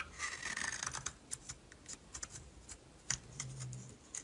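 A metal utility knife blade scrapes and carves a solid yellow bar of soap held in the hand, giving irregular, bright, rasping scrapes. Short crisp strokes alternate with longer shaving passes, each fading almost instantly at a quiet, close level.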